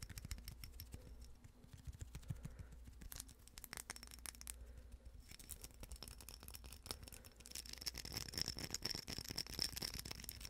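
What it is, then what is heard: Glass votive holder with rhinestone band. A small, hollow, empty glass votive candle holder wrapped in a rhinestone mesh band is held in the hands and quickly tapped and scratched with long acrylic nails. The result is a dense stream of fast, crisp clicks and scratchy rasps, with a bright, high glassy ring. The sound grows busier and louder toward the end, over a low, steady hum.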